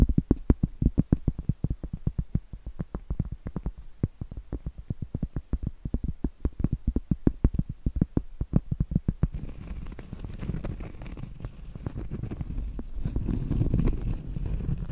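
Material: Cork.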